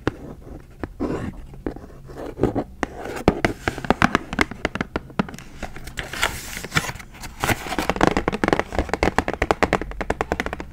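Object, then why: Plastic blister pack of dry erase markers with cardboard back. Long acrylic nails scratch and tap the cardboard back of a full Expo dry erase marker pack, then move to its clear plastic blister front. Dense, sharp clicks and taps mix with dry scratching and crinkling, growing busier and more crackly toward the end over a faint low hum.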